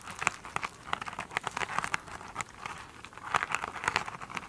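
Long pointed nails of both hands scratch a soft, solid rectangular foam sponge with a glittery woven cover resting on a table. The result is a dense run of crisp, crinkly scratches with bright, papery highs, rising in bursts throughout with quick, dry decays.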